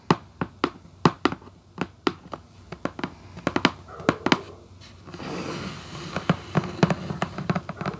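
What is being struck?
Cardboard shoebox lid.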